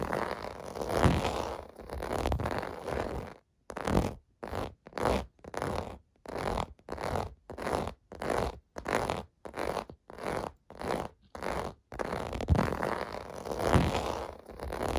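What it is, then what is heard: Plastic bubble bath mat scratched. Fingertips scratch and rub a large clear blue plastic bubble bath mat with small round hollow domes, lying on carpet. A continuous dry, raspy scratching breaks into a steady series of short, separate strokes with brief silences between them. It then returns to continuous rubbing at the end.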